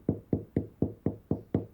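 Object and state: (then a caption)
Baked-through bread loaf, hollow. A freshly baked loaf of bread, just out of the oven, is tapped on its bottom seven times in an even rhythm. Each tap is a short, dull, hollow thump with little ring, and the hollow sound shows the bread is baked through and done.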